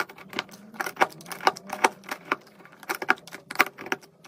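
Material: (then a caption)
Soap. A metal knife blade carves shavings off a solid pink and white soap bar. The result is a quick series of crisp, dry scraping clicks and crackles with bright edges and almost no ring, separated by brief quiet gaps.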